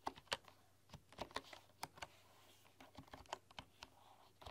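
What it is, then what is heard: Bamboo computer keyboard. Fast typing with fingertips and long nails on a full-size bamboo computer keyboard with wooden keys gives about sixteen short, sharp clicking taps. Each tap is a dry, bright click with a woody knock and almost no ring, separated by quiet moments.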